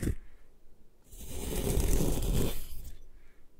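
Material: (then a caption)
Chalk. A metal putty knife scrapes and shaves the side of a solid white compressed gym chalk block held by hand, piling up powdery flakes. A short scrape opens the clip, followed by a quiet gap and then a long, rough, gritty scrape that swells and holds for about two seconds, with a heavy low rumble and a bright hiss, before fading out.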